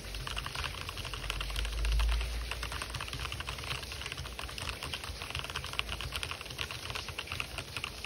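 Fingertips type fast on an RGB-backlit mechanical keyboard with white and black plastic keycaps, the hollow keys clacking on their switches. The result is a rapid, uneven stream of short, bright plastic clicks centred near 2.8 kHz over a steady low rumble that swells briefly around two seconds.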